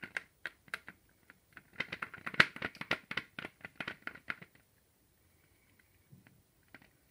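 Fingertips tap the shell of a large, ribbed, hollow dark chocolate Easter egg held upright in the other hand. Quick, crisp, bright clicking taps come in a steady rapid run for about four and a half seconds, centered near 1.9 kHz with almost no low end and no ring. Then the clip falls nearly silent except for a few faint, scattered taps.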